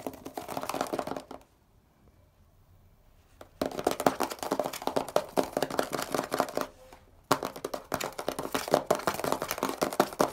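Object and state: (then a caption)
Plastic bottle, tapped and scratched. Fingernails tap and scratch the label and plastic body of a hollow grey plastic Poliflor furniture polish bottle with a blue cap. The result is dense, dry, mid-pitched clicking and scratching in quick bursts, with a quiet pause near the start and a brief break later on.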